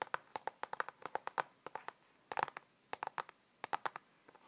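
Fingertips and nails tap and scratch the edges and front of a thin, hollow printed cardboard slipcover on a "Jingle All the Way" DVD held in both hands. About 25 short, dry, hollow taps come in quick clusters separated by brief pauses. They have a papery midrange tone around 730 Hz with no low end, and each one dies away almost instantly.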